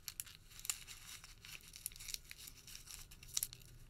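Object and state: Thermal paper receipt being crumpled.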